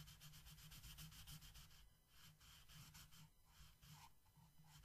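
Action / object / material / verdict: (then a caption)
scrape / wooden colored pencil on a paper coloring page / paper / none. A yellow wooden colored pencil shades a flat paper coloring book page with steady back-and-forth strokes. Each stroke makes a soft, bright, scratchy rub over a low hum. The rhythm is quick and even at first, then the strokes turn slower and fainter.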